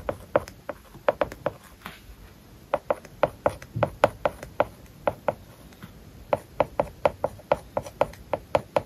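A plastic stylus writes small characters on an iPad lying flat, its glass screen covered with a matte plastic paper-like film. About 35 short, dry taps and light scratches sound in quick bursts, with brief pauses. Each tap is a crisp click centered in the midrange that dies away almost instantly, over a faint scratchy hiss.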